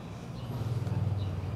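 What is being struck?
Nothing is struck.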